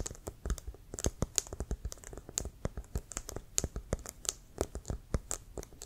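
Fingernails tap and scratch the leather surface near the white stripe of a brown, hollow, inflated American football held near the shoulder. About two dozen quick, dry taps sound in an irregular, typing-like rhythm, each a soft hollow thump with a bright clicky edge and almost no ring. Faint scratching fills the gaps between taps.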